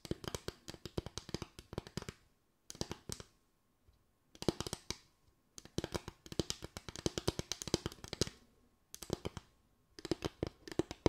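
Fingers tap rapidly on a bamboo tray in quick bursts of dry, hollow knocks with a woody tone around 330 Hz and bright clicky edges. Each tap dies away almost instantly, and brief silent pauses separate the runs of tapping.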